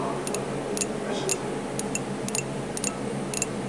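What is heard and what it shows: Fingertips tap the side of a medium, hollow ceramic coffee mug printed with a goose-and-geese design, held in one hand. The light, bright ticks come mostly in quick pairs over a steady low background hum, each fading quickly.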